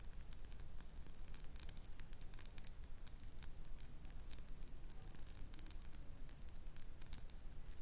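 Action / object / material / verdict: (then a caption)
tap / small glass perfume bottle tapped and scratched with fingernails / glass / none. Long nails tap and scratch a small faceted glass perfume bottle with a metal cap, filled with amber liquid and held in the hand. Quick, bright clicks and scratchy ticks come in a steady, uneven stream over a low, constant rumble.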